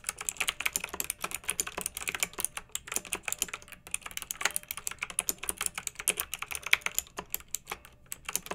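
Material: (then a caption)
Plastic. A hand with long nails types steadily on a pink backlit, typewriter-style plastic mechanical keyboard with round metal-rimmed keycaps. The result is a fast, unbroken stream of sharp, bright clicks and clacks centred around 2.2 kHz, each dying away almost instantly, with almost no low end.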